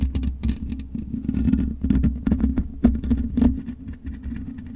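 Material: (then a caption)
Metal mesh. Long nails scratch across the black metal mesh grille of a USB microphone, making rapid, dense scratching and tapping with brief bright clicks. A steady low hum and a mid-low tone sit underneath the whole time.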